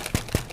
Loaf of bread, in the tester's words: it's like a hollow. Sounds like a hollow sound. That way you know that everything's kind of baked and done and ready to go.